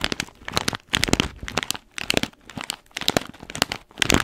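Long nails scratch and tap along the top of an orange paper-foil coffee bean bag with blue tape, held in one hand. Bright, crisp crinkling and crackling comes in quick clustered bursts separated by brief quiet gaps, with short ticks that die away almost instantly.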